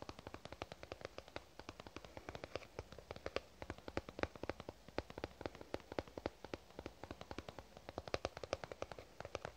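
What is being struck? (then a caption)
Soft plastic squeeze tube. Fingernails tap rapidly on a lavender soft plastic squeeze tube, producing a steady stream of around 80 short, dry clicks over nearly ten seconds. Each tap is a sharp, quickly fading tick with a hollow plastic tone centered near 540 Hz.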